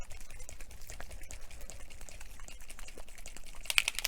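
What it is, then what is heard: Spray bottle mixing ball rattling loose. A mica stain spray bottle is shaken so the mixing ball rattles inside, giving a rapid series of short, sharp clicks throughout. The rattle shows the ball is loose and the paint is being mixed.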